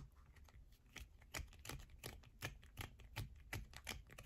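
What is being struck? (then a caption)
Bar of soap. Long nails scratch and tap quickly on a solid yellow bar of soap with a hole scraped through its center, and shavings fall onto a purple mat. Dry, sharp clicks with a soft low thud come at an uneven, brisk pace over a faint scratchy hiss, each dying away almost instantly.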